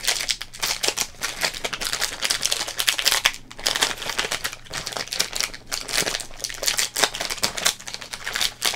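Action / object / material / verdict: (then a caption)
scrape / thin plastic trading card wrapper / plastic / none. Both hands crumple and crinkle the thin, printed plastic wrapper of an opened Topps Big Baseball Cards pack. The result is a dense run of bright, crackling crinkles in quick overlapping bursts, with almost no low end and no ring after each crackle.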